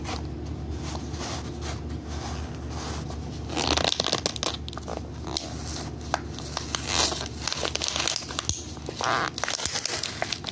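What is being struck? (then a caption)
Clear plastic blister pack on cardboard holding rubber erasers. A knit-gloved hand presses and crinkles the hollow clear plastic blister of a cardboard-backed pack holding five animal-shaped rubber erasers. Dense, bright crackles and crinkles start after a quieter opening, over a steady low hum.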